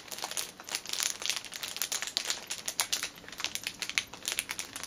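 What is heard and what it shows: Long painted nails and fingertips scratch and tap the thin, clear cellophane sleeve sealing a flat orange fitness band on a fabric cushion, then press along one edge. The result is a dense, bright crinkling with rapid, sharp ticks and crackles that stop instantly, with almost no low end.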